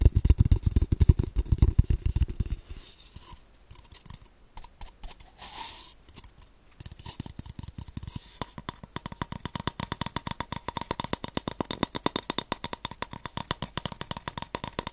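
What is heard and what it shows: Fingertips tap and scratch the side and open end of an empty, hollow brown cardboard tube. It opens with dense, low, thumpy drumming, then turns to quieter dry scratching with a short breathy swell. It ends with quick, light, steady tapping that carries a soft hollow ring.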